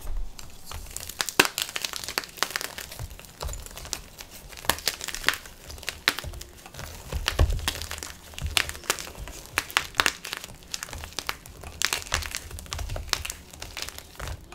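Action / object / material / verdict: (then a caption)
scrape / magnesium carbonate chalk block / chalk / none. A solid, dry white gym chalk block (magnesium carbonate), held over a black tub of purple glitter chalk powder, is squeezed and crushed between the fingers and palms of both bare hands, breaking into pieces. Dense, bright crumbling and crinkling crunches sound in quick, uneven bursts throughout, with a soft low rumble underneath.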